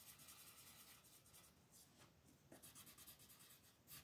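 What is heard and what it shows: A green wooden colored pencil is rubbed and scratched across a flat, thin paper mandala coloring page lying on a table while shading. The result is a quiet, continuous, bright scratchy rubbing made of quick back-and-forth strokes, with a few slightly louder strokes standing out.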